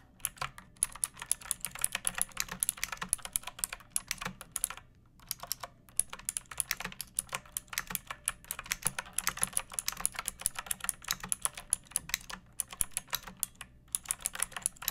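Long painted nails and fingertips type on a pink plastic mechanical keyboard with round backlit keycaps and a hollow body resting on a wooden surface. A rapid, steady stream of short, bright clacks with a light low thud underneath, broken by brief pauses near 5 and 12.5 seconds.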